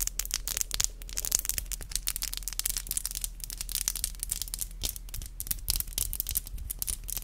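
Long black acrylic nails are tapped tip to tip with both hands, nail on nail, in a rapid, uneven stream of sharp, bright clicks. Each tap is short and dry with almost no ring, over a steady low hum underneath.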